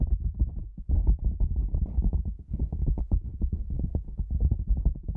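A black padded nylon lens pouch, cylindrical, hollow, about hand-sized and standing upright, is tapped on its top and sides with long manicured nails and fingertips. The result is a dense run of soft, muffled, low thuds with a deep hollow resonance and almost no bright content.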